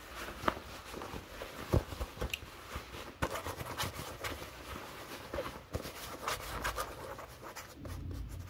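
Fingertips and short nails scratch along the woven fabric and seams of dark blue cotton denim jeans. The result is a quiet, continuous rasping scratch with a soft low rumble underneath, broken by a few sharper, brief scraping peaks.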